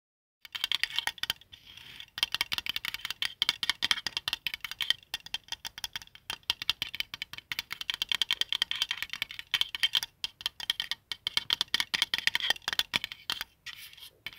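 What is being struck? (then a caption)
Small flat plastic compass. Fingertips and short nails tap and scratch across the printed dial of a palm-sized, flat white plastic qibla compass with a small inset compass, lying on a wool blanket. Rapid, dry, bright plastic clicks and scratchy ticks come in dense bursts with brief pauses and no ring.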